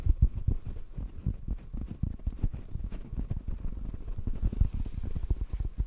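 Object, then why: Foam microphone windscreen. A hollow black foam microphone windscreen, held in one hand, is tapped quickly with the fingertips of the other hand. The result is a steady stream of soft, muffled, low thumps with almost no high end.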